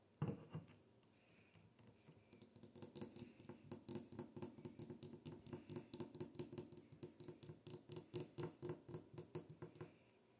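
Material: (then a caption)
Glass. A glass bottle is tapped and shaken, starting with a sharp knock and a short pause. A long run of quick, closely spaced taps and clicks follows, with a low hollow body around 150 Hz and bright clicky tops, steady in pace until the end.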